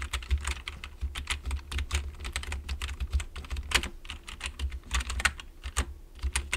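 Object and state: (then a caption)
Plastic computer keyboard being typed on. Fingertips of both hands type continuously on the keys of a full-size black plastic computer keyboard resting on a wooden desk. A rapid, uneven run of short, bright plastic clicks and taps sounds over a steady low hum.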